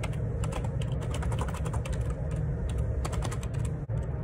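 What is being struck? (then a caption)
Plastic computer keyboard keys. Fingertips type steadily on the plastic keycaps of a black Perixx Periboard 612 wireless Bluetooth dual ergonomic split keyboard resting on a grey desk. A fast stream of soft, bright key taps rides over a constant low hum, with a brief pause just before the end.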